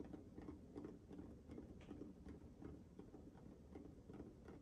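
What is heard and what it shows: Fingertips tap and scratch a small, hollow, orange-pink nubby textured rubber sensory ball cupped in both hands close to the mic. The result is quiet, muffled, low-pitched patting with a soft scratchy texture, coming in an uneven, steady rhythm with short bright clicks on some touches.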